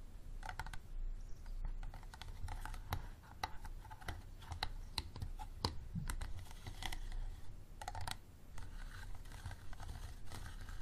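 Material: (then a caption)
Plastic. Fingernails tap and scratch the sides of an empty, clear, unlabeled plastic water bottle standing upright. Quick, dry clicks and short scratchy strokes come in an irregular stream over a low, steady rumble, with the hollow bottle giving each tap a brief, muted knock.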